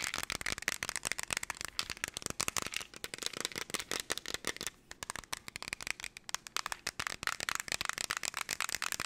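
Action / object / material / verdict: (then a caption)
shake / plastic jar holding small loose pieces / plastic / none. Long nails tap quickly and chaotically on a clear plastic jar with a black lid, partly filled with small golden pieces, and the jar is shaken. The result is a dense stream of sharp, bright clicks and rattles, with a brief near-silent pause midway before the fast tapping resumes.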